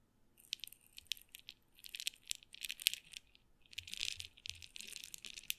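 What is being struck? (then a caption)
Glass pepper grinder with peppercorns. A glass pepper grinder with a black and red plastic grinder head, partly full of black peppercorns, is held in the hand and shaken so the peppercorns rattle. Quiet, bright, dry clicking and rattling comes in irregular bursts with a brief pause midway. There is almost no low end.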